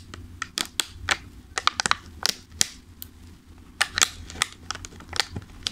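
Fingertips tap and squeeze a thin clear plastic clamshell food container full of pastries, then lift it at the end. The result is an irregular run of sharp, bright plastic clicks and crinkly crackles that stop almost instantly, over a faint low hum.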